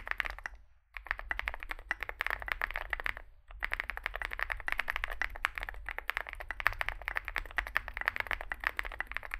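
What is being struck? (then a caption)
Mechanical keyboard with plastic keycaps. Fingertips type continuously on a small Zoom65 65% mechanical keyboard with a dark case and white and grey plastic keycaps. The result is a dense stream of short, crisp plastic clacks centered around 2 kHz with bright edges. Two brief pauses break the typing near the start, over a steady low rumble.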